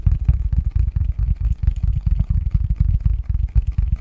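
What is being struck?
Cardboard box lid.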